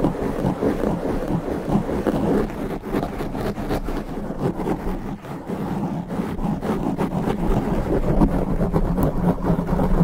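Both hands scratch and rub a black foam windscreen on a standing microphone with their fingertips. This produces a continuous, muffled, low-heavy rumbling scrape with a steady level and only brief dips. No separate hits stand out.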